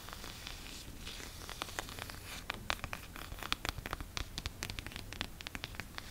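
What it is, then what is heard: Leather-bound book, scratched. Long fingernails scratch across the embossed brown leather cover of a closed Bible held in both hands. The result is a quiet, continuous dry scratching and rustling, punctuated by a rapid series of short, sharp clicks.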